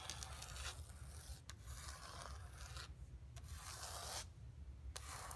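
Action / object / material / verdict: scrape / painted canvas board / canvas / none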